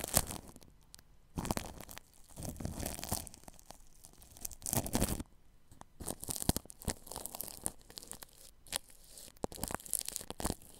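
A paintbrush brushes and rubs across plastic cling film wrapped over a ball microphone's grille. The result is a run of close, crinkly, scratchy bursts that swell and fade, with a heavy low-end rumble under bright rustling edges.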